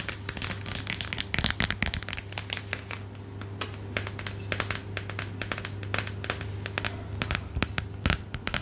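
Long acrylic nails rapidly tap and scratch a pink plastic or silicone phone case with a glitter heart on the back, fitted on a phone held in the hand. The result is a dense run of sharp, bright clicks and crackly scratching over a steady low hum, with bursts of faster tapping near the start and end.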